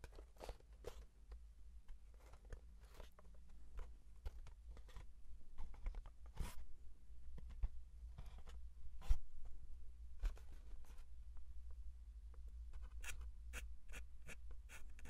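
Fingernails scratch and tap the face and narrow side of a small, hollow brown kraft cardboard box. Dry, crunchy scrapes and sharp, bright taps come in uneven bursts over a steady low hum. Each tap dies away almost instantly.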